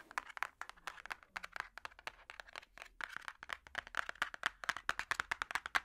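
A large, solid hardcover puzzle book with a cardboard cover is tapped with metal finger picks in a rapid, uneven run of short, dry clicks. Each click dies away almost instantly, with a bright midrange character centered around 1.6 kHz and almost no low end. The taps grow slightly louder and denser toward the end.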